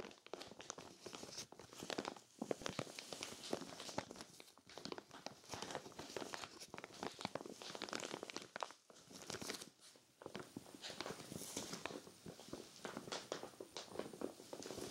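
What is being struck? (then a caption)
Clear vinyl storage bag filled with knit sweaters. A clear vinyl zippered storage bag full of cream knit sweaters is scratched and rubbed by long nails and fingertips. The result is steady crinkling and scratching plastic with quick, bright crackles. It comes in dense bursts that pause briefly around two, nine and ten seconds.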